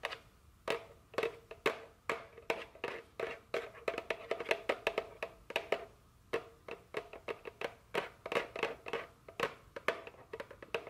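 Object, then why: Printed cardboard candy box. A small printed cardboard chocolate candy box, likely full and held in the hand, is tapped with very long fingernails. A quick, irregular series of dry, crisp clicks has a hollow mid-range tone and bright edges, and each tap dies away almost instantly with no ring.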